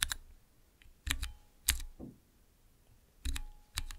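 Fingertips press the keys of a small, transparent plastic nine-key mechanical keypad. Sharp, bright clacks with a low thock beneath arrive in short irregular clusters with quiet gaps between, each keystroke dying away almost instantly.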